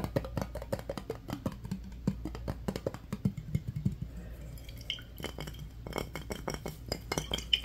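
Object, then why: Glass mason jar with metal screw lid. Fingertips and nails rapidly tap and scratch a clear, medium-size glass mason jar with a metal screw lid that appears empty. The result is a dense run of short, dry clinks and scratchy rasps over a steady low hum. A few brighter glassy pings ring near 3 kHz toward the end.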